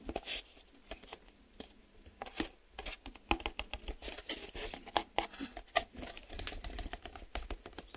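Fingertips tap a small, empty, hollow printed cardboard retail box, held up in one or both hands, striking its glossy printed face and its open end. The result is a steady run of quick, dry taps and hollow knocks with almost no ring, mixed with faint crinkly scratching. Occasional sharper, brighter clicks stand out over a soft low thud.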